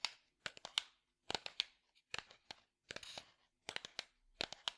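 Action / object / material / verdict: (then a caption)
tap / small light-wood box / wood / none. A small, hollow, light-wood box held in one hand is tapped and scratched with the fingertips. Quick clusters of sharp, bright taps with almost no ring, mixed with brief dry scratching, come in short bursts separated by silence.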